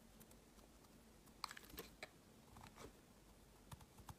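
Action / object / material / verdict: scrape / glycerin soap bar cut with a metal blade / soap / none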